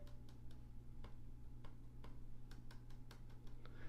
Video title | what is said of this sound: Lenovo Legion 5 Pro Consumer Review | it gets worse as you go down